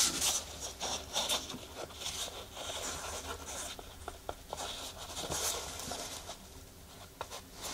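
Long nails scratch and tap across the black knit mesh upper of a laced sneaker held in the hands. Bright, hissy scratching rasps continuously over the fabric, punctuated by sharp little taps.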